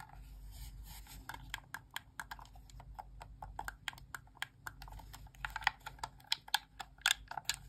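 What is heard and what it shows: Long press-on nails tap and click on the plastic buttons and face of a white, hand-sized, hollow plastic Xbox wireless controller held in both hands. The result is a quick, irregular stream of short, bright clicks with almost no ring over a faint low hum. The taps grow sharper and louder toward the end.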